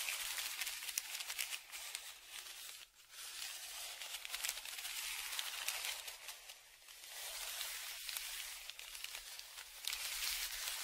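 A dark flat tongue depressor scrapes back and forth across a large brown kraft paper Amazon padded mailer that lies flat and is held down by one hand. The crinkled paper gives a dry, bright, crackling scratch with quick irregular strokes. The sound fades briefly around three and seven seconds before building again.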